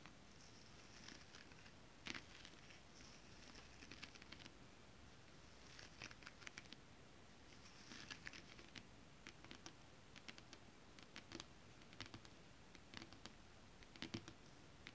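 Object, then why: Holographic scale-print fabric. Long acrylic nails tap on a flat holographic mermaid-scale print fabric, then scratch across it. The result is quiet, soft taps and bright, crisp scratching bursts over a steady low rumble.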